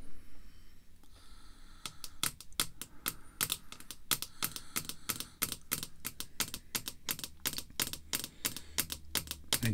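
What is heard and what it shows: Fingertips wearing red artificial nail tips tap a small, solid, thick clear acrylic screw-down card holder with a vintage baseball card inside, lying on black cloth. After a quiet start, there is a steady stream of quick, sharp, bright clicks with almost no ring, over a faint low background hum.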